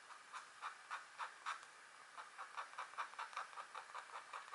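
A pointed green stylus, held by a hand with long nails, scratches short strokes into a flat, thin, black-coated wax scratch art card lying on a table. The strokes come as a quiet series of soft, bright, papery scratches. They pause briefly and then continue in a quicker, steadier run.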